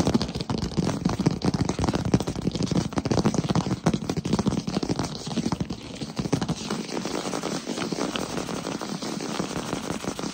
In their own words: Asmr fast tapping on wood floor